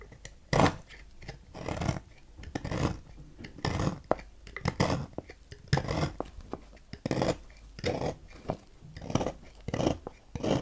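A knife blade carves a solid white-and-purple striped oval bar of Dalan soap on a table, cutting off flaky shavings. Repeated crisp, rasping scrapes come in short bursts separated by brief quiet gaps, with most of the energy in the low and middle range.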